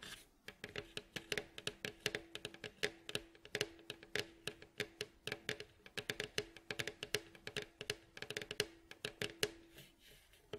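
Fingernails tap and scratch on the hollow, striped, varnished wooden bowl back of a mandolin lying face down, working near the neck joint and across the staves. Quick, dry, bright clicks fall in a fast, uneven stream over a faint hollow tone around 420 Hz. Each tap dies almost at once.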